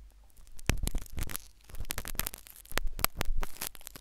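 A metal syringe needle is inserted into the ear canal of a solid white soft silicone ear replica on a binaural microphone and scratched around inside. It produces a dense run of sharp, bright scratching and crackling bursts over a low rumbling bed.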